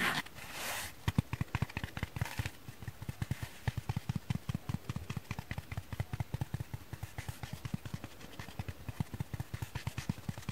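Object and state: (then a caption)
Dry sponge tapped. A dry kitchen sponge is tapped with fingers and nails, producing a rapid, steady series of about 57 quick, soft, dull taps that are mostly low in tone with a short, bright click at each onset. A brief soft rustle comes first, and the taps die away almost instantly with a faint hiss underneath.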